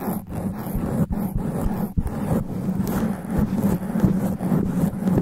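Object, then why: Foam microphone windscreen. Extra long black nails scratch fast and aggressively across a sponge foam microphone cover. The result is a dense, rough, continuous scratching roar, heavy in low rumble with a steady low buzz, broken by a few brief dips and jolts as the scratching shifts.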